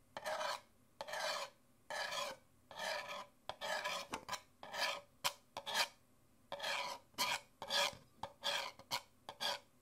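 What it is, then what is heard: Empty paper cup. Fingernails scratch and tap the outer printed wall of an empty white printed Nespresso paper coffee cup held upright in one hand, its hollow, thin paper walls producing the sound. Bright, raspy scratching comes in short, irregular bursts separated by brief silences, with quick dry taps mixed in. The sound is thin and papery with almost no low end and very little ring.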